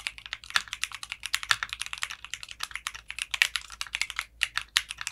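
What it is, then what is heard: Polycarbonate mechanical keyboard being typed on. Fingertips type steadily on a mechanical keyboard with clear pink polycarbonate keycaps and a translucent case. Dense, rapid keystrokes produce bright, crisp clicks with very short decay and almost no low end, with a brief pause just past the four-second mark.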